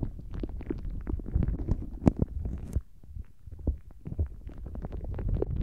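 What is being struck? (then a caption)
Soft rubber squishy toy filled with gel water beads. A palm-length, translucent blue soft rubber dolphin-shaped squishy filled with gel water beads is held in both hands and bent and squeezed with the fingertips just above the microphone. The result is a continuous low, wet, gurgling squelch with many quick soft pops and crackles, and a few sharper, brighter squishes stand out from the murmur.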